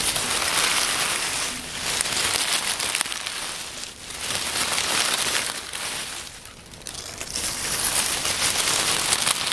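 Hands crush and rub a pile of dry, crumbling oak leaves between the fingers on a wooden table. A dense, bright crackling rustle runs throughout, easing briefly in a few spots before swelling again.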